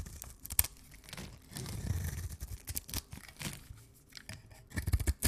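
A knife blade scrapes and cuts along the surface of a rounded rectangular, solid pink dry soap bar held in the hands. Dry, crumbly scraping and crunching run throughout, with a dull low rumble and sharp, bright crackles as flakes break away. The bursts rise toward the end.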